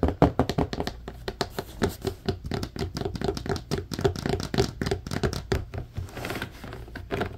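Fingertips and short nails tap and scratch along the grid bars on the slotted side of a large, hollow, empty blue plastic laundry basket. The result is a quick, uneven run of dull, hollow plastic taps with a low, boomy body and a short decay, mixed with lighter scratchy rasps. The rasping is most noticeable in a softer stretch near the end.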